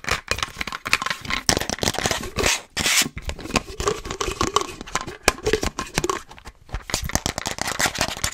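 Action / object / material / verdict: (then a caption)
tap / plastic cold cup with lid and straw / plastic / none. Long nails tap and scratch fast across a hollow, empty frosted plastic Starbucks reusable cold cup with its lid and straw. The result is a dense, rapid stream of sharp plastic clicks and bright, scratchy rasping with very little ring, with a brief louder hiss of scraping near the middle.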